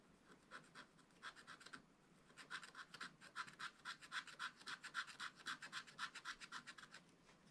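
A wooden stylus scratches lines along a fish outline on a black wax-coated scratch-art card in a spiral book. The result is quiet, dry, bright rasping in quick, fairly regular strokes centred around 1.5 kHz and reaching high, with a brief lull near the two-second mark before the scratching picks up more steadily.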